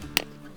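A maple sap spout with an extension is lightly tapped into a freshly drilled hole in a maple tree trunk, giving a single sharp, bright click with little ring. The tap marks the change in sound that shows the spout is properly seated.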